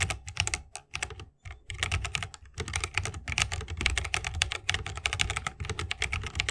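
Fingertips of both hands type continuously on a 60% mechanical keyboard with plastic keycaps and tactile switches, set in a bamboo wooden case. A dense stream of crisp, bright keystrokes with a deep, low thock underneath plays throughout, with a brief pause around 1.4 seconds.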